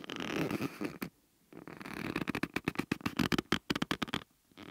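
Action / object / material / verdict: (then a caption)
scrape / rubber bellows membrane in a metal ring / rubber / none. A flat hand and fingers rub and stretch the yellow rubber membrane of rubber bellows held in a metal ring. A sustained squeaky, rubbery drag is followed by a pause, then a rapid run of about sixteen short, sticky squeaks centered around a low-mid pitch near 266 Hz. Each squeak cuts off almost instantly.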